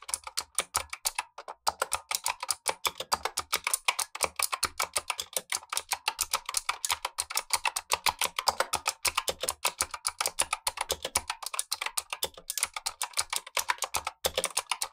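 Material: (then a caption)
Plastic. Gloved fingertips type continuously on a black tenkeyless Razer Huntsman V2 mechanical keyboard with clicky switches and plastic keycaps. Rapid, closely spaced sharp clicks fill the clip with a bright, crisp clatter, with almost no low end. A second keyboard beside it stays untouched.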